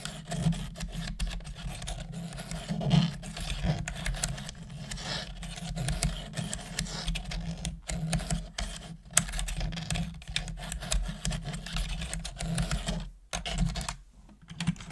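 Long manicured nails and fingertips type steadily on a full-size black plastic computer keyboard with hollow plastic keys. A continuous run of quick, short clicks and clacks rides over a heavy low-end thump, with brief pauses in the rhythm near the end.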